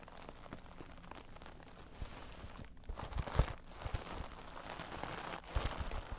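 Long nails scratch the top surface of a soft, iridescent, dimpled holographic vinyl cosmetic bag, a synthetic pouch that is slightly squashed. The result is a steady, soft crinkly scratching with dull low thumps, swelling into a few louder rustling bursts midway and near the end.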